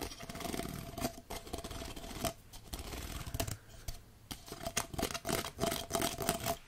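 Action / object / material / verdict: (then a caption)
scrape / plastic jellyfish pop tube toy / plastic / none. A green plastic jellyfish pop tube toy with a hollow dome head and ribbed tubes is tapped and scratched with fingertips and nails. The result is a dense, irregular run of dry scratchy rasps and short clicky taps with a faint resonant tone near 680 Hz, some strokes bright and crisp, broken by brief quiet pauses.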